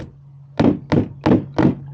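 A fist bangs four times on the bottom of a plastic water softener brine tank, giving short, dull, hollow thunks over a steady low hum. The hollow sound shows the salt has bridged above an empty space at the bottom of the tank.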